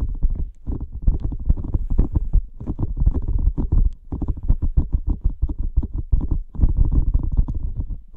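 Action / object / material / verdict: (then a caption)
scrape / rubber dolphin squeeze toy with gel bead filling / rubber / none. A blue squishy rubber dolphin toy filled with gel beads is squeezed and scratched with fingertips close to the mic. It makes a dense run of rapid, deep, squelchy pops and crackles, almost all low-pitched, with only brief pauses between bursts.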